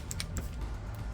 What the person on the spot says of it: you'll hear there's a little Block in there it's going back and forth